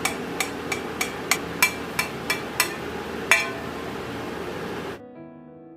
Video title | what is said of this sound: కరకరలాడే బూందీ మిఠాయి అచ్చు ఈ సింపుల్ కొలతలతో ఎవ్వరైనా ఈజీగా చేసుకోవచ్చు-Boondi Mithai Achhu-Sweet | చూశారు కదండీ సౌండ్ ఎలా వచ్చిందో పాకం గట్టిపడితేనే సౌండ్ అలా వస్తుంది. మెత్తగా ఉంటే గనుక అలా రాదు.